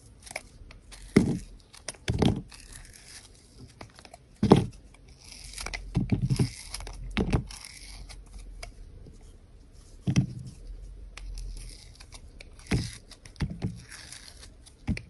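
A round, hand-sized, solid soap bar with red-and-white stripes and a green glitter rim is held in the hand and shaved with a utility knife blade. Soft scraping and carving strokes come through as short, dry, crinkly rasps with a low body and faint bright hiss. Several louder cuts stand out against a quiet background.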